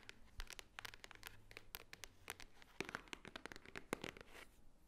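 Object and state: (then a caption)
Cardboard jewelry box. Long nails tap and scratch the top edge and face of a flat rectangular white cardboard Swarovski jewelry box held upright, which seems hollow. Many quick, dry, papery clicks land in irregular bursts, with bright crackling scratches and short light knocks between them.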